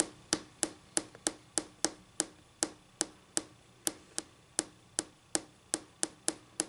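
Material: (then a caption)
Laminate. Long glossy pink acrylic nail tips tap a flat, solid white laminate tabletop with a faint textured surface, likely over particleboard or MDF. Nineteen clean, bright ticks sound at a steady pace, each stopping almost instantly with very little low end.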